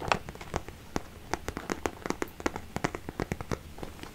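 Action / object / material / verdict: tap / small zippered vinyl pencil case / vinyl / none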